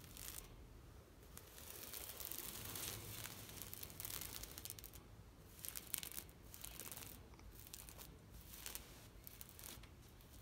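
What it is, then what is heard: Plastic shade mesh netting. Long nails scratch across a large, thin, green knitted plastic shade net stretched on a fence. The result is quiet, dry, bright rasping and crinkling in uneven bursts, with a low rumble underneath throughout.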